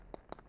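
Two small plastic tubes with hoses attached, part of a gas reservoir inside a Vmax Encore medical gas analyzer, are tapped. Two short, dull clicks sound with almost no ring, confirming they are plastic rather than glass.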